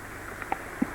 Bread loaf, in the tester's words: Tap them, just a hollow sound, that lets you know the bread's cooked properly